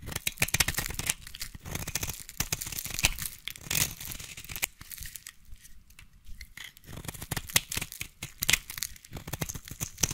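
A utility knife blade scrapes and shaves curls from a solid yellow bar of soap. Dense, dry scraping and crisp crackling strokes come in quick bursts, bright and papery, with a soft low thump under some strokes. Each stroke stops short with no ring.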